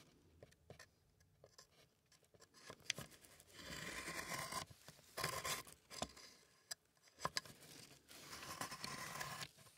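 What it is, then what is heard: Wooden box scraped inside. A gloved hand scrapes inside the compartments of an old, hollow, empty wooden stamp box with a slatted section, using a thin wooden stick or spatula while the other hand holds the box on its side. Bright, dry scraping comes in several longer rasping stretches, broken by sharp clicks and taps of the stick against the wood. There is almost no ring after each contact.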